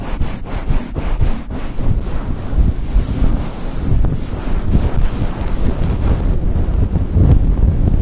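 A grey synthetic faux fur microphone windscreen is rubbed quickly with the fingers and long nails. The result is a continuous, muffled, rumbling rustle that is heavy in the low end with only a faint scratchy hiss above, plus a few brief brushing ticks near the start.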